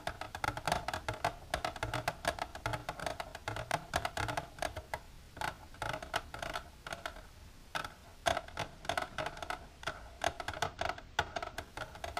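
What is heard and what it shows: Long natural nails with silver polish tap continuously on a plastic container. The result is a steady, rapid stream of short, dry clicks with a hollow mid tone around 670 Hz and very little ring, with some taps landing louder and brighter than others.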